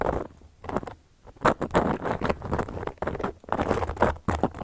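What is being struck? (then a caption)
Round flat cork coaster. A carving tool, held in a hand with long yellow nails, scratches and traces across a solid, round, flat cork coaster. Dry, papery scratching comes in short bursts and longer strokes with brief quiet gaps between them, the grainy texture spreading from low up into a faint bright hiss.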